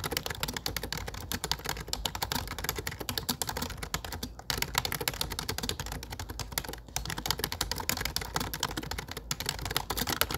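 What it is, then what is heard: Plastic computer keyboard. Fingertips type steadily on a low-profile plastic computer keyboard with dark plastic keycaps, producing rapid, bright, dry clicks that stop almost instantly. Brief pauses fall at about 4.3, 6.8 and 9.3 seconds before the typing resumes.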